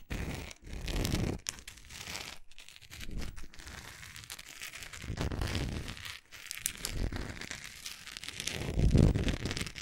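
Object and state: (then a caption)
Wax pillar candle. Long acrylic nails scratch and tap along the side and top edge of a large, solid orange wax pillar candle. The result is a dense, irregular run of crinkly scratching and quick, dry taps, with a soft, bassy body and a bright, rustly edge. The sound swells and eases in waves, with a louder burst of scratching near the end.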